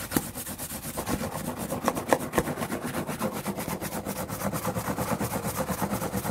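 Fingers rub and scratch the flat surface of a large, hollow, empty corrugated cardboard shipping box with a printed smile logo as it is held up. The result is a fast, steady run of rough, dry scratching strokes with a hollow papery resonance in the low mids, broken by a few sharper taps near the start.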